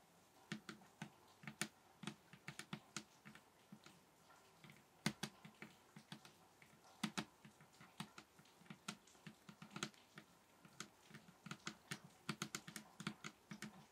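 Fingers tap on a table top in a quick, uneven run of around fifty short, soft taps. Each tap has a bassy thump near 200 Hz with a brief bright click on top and dies away almost at once. The tapping continues steadily over a quiet background.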